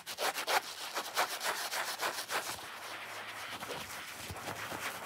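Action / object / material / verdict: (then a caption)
scrape / foam kitchen sponge / foam / none. A wet, soapy watermelon foam kitchen sponge is rubbed and squeezed by fingers while nails scratch its wet foam surface. Quick, bright, rasping scratch strokes come in fast bursts, loudest early on, then settle into a softer, steadier rubbing hiss.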